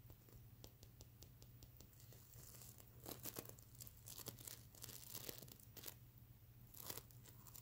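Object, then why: Plush pillow covered in plastic sequins. Fingertips and nails scratch and brush across the iridescent plastic sequin scales of a soft, stuffed mermaid unicorn plush pillow. Quick, bright crinkling and ticking scrapes come in bursts, with louder rasping sweeps around the middle and near the end, over a steady low hum.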